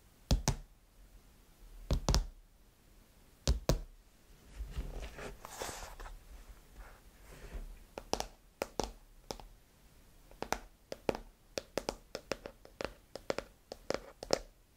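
Long nails tap and knock on the textured matte glass back of an iPhone 15 Pro, with its camera bump, lying face down in its open white box. The sharp, dry knocks come in an irregular rhythm with a dull low thud and a mid-range click; each dies away almost instantly. A stretch of softer, noisy handling sits between the early and later taps.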